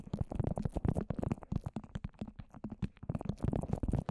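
Long orange nails tap rapidly on the dome of a microphone wrapped in plastic and layered with wet white papier-mâché. The taps come as a dense run of soft, muffled, sticky thuds, heavy in the low end with almost no brightness.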